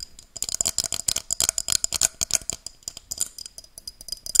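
Long dark-painted nails tap and scratch a tall, empty, hollow pink-tinted glass tumbler held upright above the mic. The result is a quick, uneven series of about 22 sharp, bright clicks and scrapes. Each one stops almost instantly, with a faint high glassy tone and very little low end.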